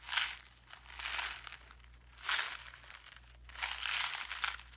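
A small clear plastic blister pack with a card backing, full of pink craft gems, is crinkled and pressed with the fingertips while held up. Four bright, hissy bursts of crinkling swell and fade, with quieter rustling between them and a faint low hum underneath.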